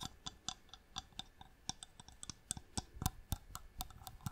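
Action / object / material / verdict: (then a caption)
tap / small wooden box with inlay / wood / none. A small, hollow wooden box with striped marquetry inlay is held in the hand and tapped with long nails on its lid and sides. About twenty quick, dry taps come at an uneven pace, each a short bright click over a soft, low, hollow knock. The taps are quiet and die away almost instantly.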